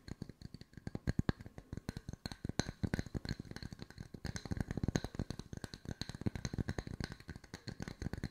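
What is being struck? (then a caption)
Wooden discs. Wooden circles are tapped with the fingertips at mixed speeds for ASMR, producing a dense stream of short, dry taps. Each tap is a soft, low, woody knock that dies away almost instantly, with the rhythm shifting between quicker and slower runs throughout.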